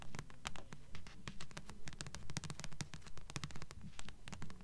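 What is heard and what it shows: Long fingernails tap and scratch the glossy front cover of a thick blue paperback book of solid paper, held upright in both hands. Quick, crisp clicks and dry scratching strokes come in a fairly steady rhythm, with bright transient snaps over a soft low thrum and swells of loudness roughly every half second.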